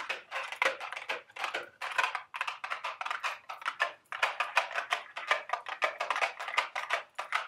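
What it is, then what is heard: Cardboard candy box. A small, hollow, empty-looking carton-shaped Dubble Bubble cardboard candy box is held in the hand while long, sharp red acrylic nails tap and scratch its sides. The result is a steady stream of rapid, dry clicking taps mixed with papery scratching, bright and crisp with almost no low end. Each tap dies away almost instantly.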